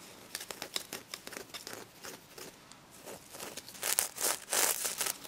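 Long red nails scratch and brush across the reversible pink and gold sequins covering a stuffed plush pig toy. The result is a quick run of crisp, bright, scratchy clicks and rustles that swell into louder, denser brushing strokes near the end.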